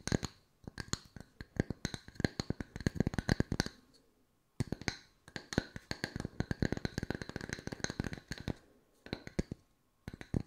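Long nails tap quickly on two solid round wooden slice coasters, making dozens of short, dry clicks with almost no ring. The taps are full in the low end with bright edges, coming in dense bursts broken by brief silent pauses.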